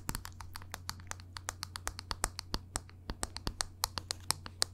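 Long nails tap on a small, hollow, black plastic NARS makeup compact held in one hand. About thirty quick, dry, bright clicks come in an uneven series, each stopping almost at once, over a steady low hum.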